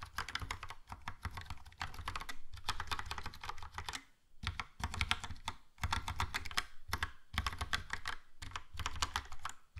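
Fingertips of both hands type on a Logitech POP Keys, a compact, hollow plastic mechanical keyboard with a yellow plastic case and round black and grey plastic typewriter-style keycaps. Bursts of rapid typing taps sound bright, clicky, and dry, with a low, hollow thump under each key, separated by brief pauses.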